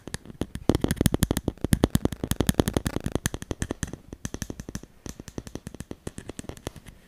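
A handheld smartphone in a solid black plastic case is rapidly tapped and scratched with fingernails close to the microphone. Around fifty short, dry, clicky taps with a low, thumpy body come in a dense, crackling flurry for about four seconds. They then thin out into a slightly sparser, softer run, each tap dying away almost instantly.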